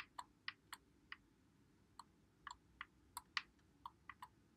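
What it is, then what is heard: Plastic game controller buttons clicking. Fingertips press and click the buttons and thumbsticks of a white Xbox One controller with a hollow plastic body, held in both hands. About a dozen short, bright plastic clicks come at uneven intervals. They sound quietly over a faint low background hiss and die away instantly.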